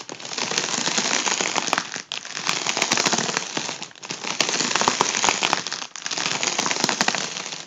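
A fingertip taps and scratches the taut foil of an inflated, hollow, air-filled tubular section of a gold mylar foil balloon held in hand. This makes a dense, bright, crackling and crinkling rustle with sharp little clicks throughout. It comes in four steady stretches, each separated by a brief dip near the 2, 4 and 6 second marks.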